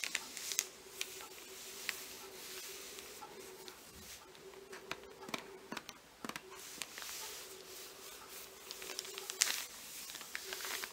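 Long green-painted nails and fingertips of both hands rub, scratch and tap a folded parchment-style paper Marauder's Map insert lying on open book pages. The result is bright, dry paper crinkling and scratching with short, sharp taps scattered throughout, over a faint steady hum.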